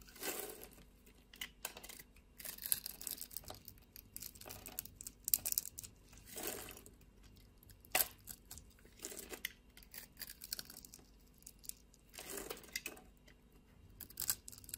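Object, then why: Bar of soap shaved with a blade. A hand holds a solid pink bar of soap while a utility blade shaves curls off its surface. The result is soft, dry scraping and crinkly tearing sounds, bright and hissy, coming in short strokes with brief sharp clicks between them.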